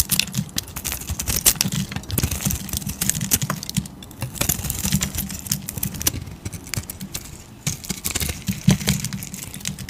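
A metal utility blade shaves a solid cream soap bar, making rapid, crisp scraping and bright, short ticking cuts over a steady low hum throughout.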